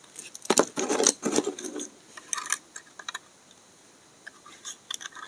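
A utility knife blade shaves the edge of a solid, dry green bar of soap held in the hand, curling off flakes. A few louder, bright, crisp scraping strokes come early, followed by quieter, irregular dry scratches and ticks with almost no low end and very little ring.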